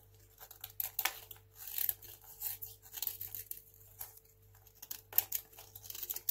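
A craft knife blade shaves thin, crunchy slices off a small, solid, dry white hotel soap bar held in one hand. The sound is a quiet, steady run of short, bright, crisp scraping and crackling bursts. Each one stops sharply, over a faint low hum.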